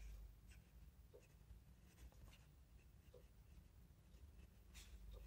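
A metal fountain pen nib scratches across an open ruled paper notebook lying flat on a desk as a hand writes cursive text. The recording is quiet, dominated by a steady low rumble, with faint scratchy strokes and short bright ticks scattered throughout.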